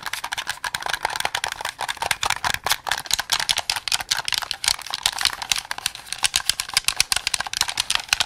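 Fingertips quickly press and click the buttons and triggers of a hollow white and black plastic Xbox game controller held close. The result is a dense, rapid run of sharp, dry plastic clicks with no ring, bright and clicky with almost no low end.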